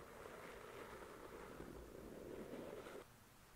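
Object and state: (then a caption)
Paperback book. A paperback novel, "The Shack," made of solid paper with a glossy card cover, has its cover slowly scratched and traced by long nails. A soft, steady rasping hiss with a low-mid emphasis continues for about three seconds and then drops away abruptly to near silence.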